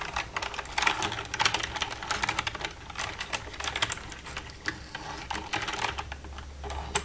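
Long red-painted nails tap and type with both hands across the keys of a black plastic desktop computer keyboard with a hollow casing. The result is a dense stream of quick, bright plastic clicks and clatters with short ring, over a faint steady low hum.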